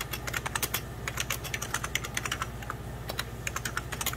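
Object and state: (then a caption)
Plastic computer keyboard. Fingertips of both hands type on a hollow, beige 1990s Packard Bell plastic computer keyboard, producing a rapid, uneven run of bright plastic key taps over about four seconds. Each click is short and dry, with a steady low hum underneath.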